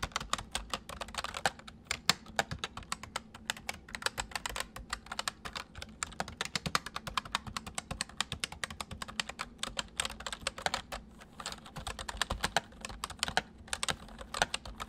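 Fingertips of both hands type fast on a white full-size MSI plastic mechanical keyboard with hollow keys. The result is a dense, continuous stream of short, bright, clacky clicks with a faint steady low hum underneath.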